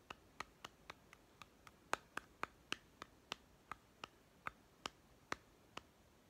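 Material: Plastic.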